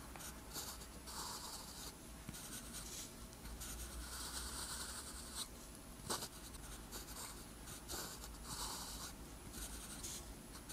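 A metal pen nib scratches across a flat, thin sheet of lined white paper while writing Korean characters. Bright, papery scratching comes in bursts of strokes with short pauses between them, over a low, steady hum. A sharp little tap of the nib stands out near the middle.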